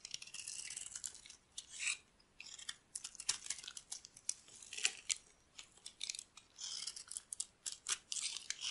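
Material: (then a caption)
Soap. A solid, dry yellow bar of soap held in the hand is shaved with a metal blade into long, thin curls. Each cut makes a quiet, crisp, bright scratching rasp with almost no low end. The strokes come in a quick, uneven series of short bursts and longer scrapes, with brief pauses between them.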